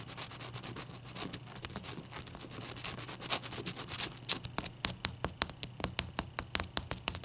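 Long painted nails rub and scratch a single large, solid ice cube with a frosty surface resting on a towel. Bright, dry scratching and quick, sharp clicks come in a rapid, uneven patter, growing more distinct and evenly spaced toward the end, over a faint low hum.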